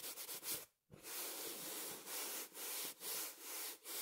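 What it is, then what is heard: Printed fabric throw pillow. A small, soft, filled throw pillow with a printed fabric cover is held in one hand and scratched and rubbed with the fingertips of the other. Bright, hissy scratching strokes sweep across the fabric in a loose rhythm, with a brief silence near the start before the rubbing continues steadily.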